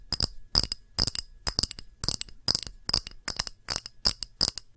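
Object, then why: Small pressed-glass dish. A small, round, empty clear pressed-glass dish with a textured rim is tapped quickly with long nails along its rim and face. The taps come in rapid clusters of two or three, each a bright, clicky tick with a high glassy ping. They die away almost instantly, with very little low end.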